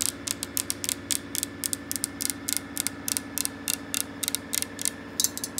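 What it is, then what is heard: Marble countertop. Long painted nails and fingertips tap and scratch directly on a solid, flat, white and grey veined marble countertop. About two dozen sharp, bright clicks come in quick, uneven bursts, each dying away almost instantly, over a steady low background hum.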